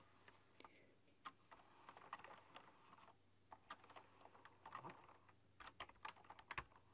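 Fast typing with fingertips and long dark-polished nails on a full-size typewriter-style computer keyboard with round chrome-rimmed, hollow keycaps. Quick, sharp clicks come in uneven bursts with brief pauses, each tap short and mid-pitched with a bright edge over a faint low hum.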